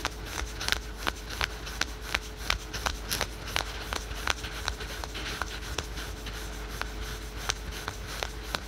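Fingernails scratch quickly over patterned spandex/polyester yoga pants, synthetic stretch fabric leggings, worn on the thigh. Short, bright, rasping strokes repeat at an uneven, fast pace over a steady low background hum and a faint tone.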